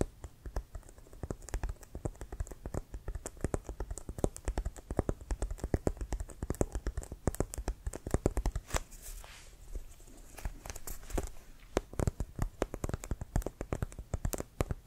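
A full-size, inflated, hollow brown pebbled composite-leather American football with a white stripe is held in the hands and tapped and scratched with fingertips and nails. Rapid, dense, dull low thuds with no ring continue throughout, easing briefly into a softer, scratchier stretch around the middle before the quick tapping resumes.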